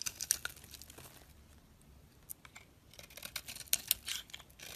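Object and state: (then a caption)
Bar of soap being shaved. A metal blade scrapes and shaves chunks off a solid orange soap bar with a teal rim. The result is a run of dry, crisp, bright crackling scrapes and short ticks with almost no low end. A quieter stretch in the middle gives way to denser, louder scraping toward the end.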